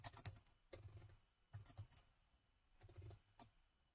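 Fingertips type on the plastic keys of a laptop with a gold metal body, producing quick, bright clicks with a soft low thud under each press. The taps come in short clustered bursts separated by brief pauses, each one dying away almost at once.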